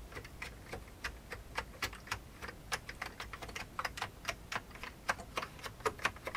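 Fingertips type rapid keystrokes on an old beige full-size plastic computer keyboard with hollow keycaps. About 28 quick, hollow clicks sound at an uneven pace, each with a bright top around a 1.1 kHz body. They stop almost instantly over a faint low hum.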